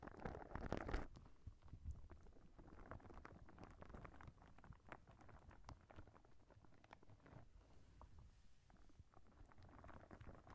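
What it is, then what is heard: Soft rubber spiky ball. A clear, soft rubber spiky squishy ball is held close to the microphone, squeezed and its spikes rubbed with fingertips and nails. A louder squish in the first second gives way to a steady, dense run of soft crackling, squeaky rubbing and patter. The sound sits mostly in a low, muffled register, with faint, quick ticks throughout.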